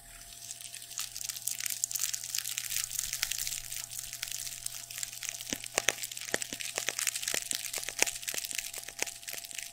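Fingertips scratch, squeeze and crinkle a soft, padded, shiny black nylon or satin fabric pad about a hand-width long, held in both hands above the microphone. The result is a steady, dense stream of bright, crisp crackling and rustling, with short sharp clicks growing more frequent in the second half over a faint low, steady hum.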